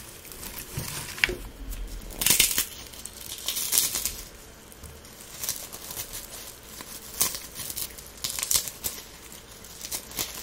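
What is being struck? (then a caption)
Dried rose petals and flowers. Latex-gloved fingertips crumble and rub a pile of light, brittle dried rose buds and petals mixed with pink feathery dried flowers. The result is bright, crisp crackling and crinkling in irregular bursts, with quieter rustling between them.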